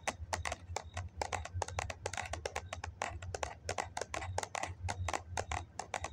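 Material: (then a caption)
Foam. A hollow white foam cup, held cupped in the hands, is tapped on its side with fingers and nails in a quick, uneven run of taps. Each tap is a short, dry, hollow tick with almost no ring, over a steady low hum.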